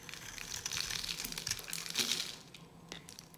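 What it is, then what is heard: Dry bar soap being scraped with a knife. A palm-sized, solid yellow bar of dry soap is held in the hand and carved with a metal knife blade, scraping off flakes. Repeated dry, crumbly scratching and cutting strokes sound mostly bright and high. They build to a denser burst around two seconds in, then thin out to a few lighter scrapes.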